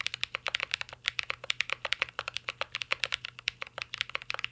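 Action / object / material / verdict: tap / mechanical keyboard with plastic keycaps and metal case / plastic / none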